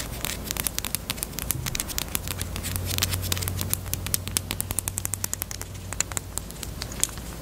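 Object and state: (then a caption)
Plastic chapstick case. Long acrylic nails tap rapidly on a small, closed, hollow pink hard plastic chapstick case shaped like a Peep bunny. The taps are sharp, bright clicks with no ring, over a steady faint low hum.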